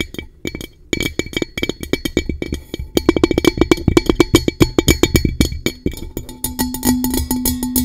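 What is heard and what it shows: Long nails tap rapidly and irregularly on the base and rim area of a blue-coated hollow metal tumbler. The taps are dry and clicky, with bright metallic ticks over a hollow tone near 336 Hz. Toward the end, a steadier low ring lingers beneath the tapping.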